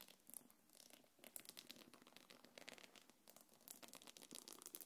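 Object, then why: Small quilted faux-leather belt bag. Long nails scratch across the curved top of a small quilted black leather-look belt bag resting on a palm. The result is a quiet, continuous run of quick, bright, crinkly scratches with almost no low end, coming in short overlapping bursts.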